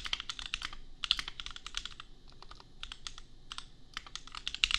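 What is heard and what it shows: Fingertips of both hands type steadily on a compact $250 custom mechanical keyboard with Gateron Milky Yellow switches and red/pink plastic keycaps. The result is a quick, uneven stream of short, bright, clacky keystrokes that stop dead with no ring, with a few louder taps near the end.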